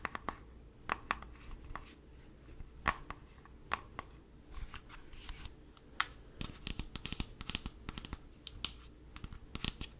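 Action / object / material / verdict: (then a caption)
tap / plastic body wash bottle / plastic / none. Fingertips and nails tap and scratch the surface of a hollow, hand-sized black plastic Axe body wash bottle held in both hands. Quick, sharp, dry taps with bright clicky edges come in uneven bursts, with soft scratching between them over a steady low hum.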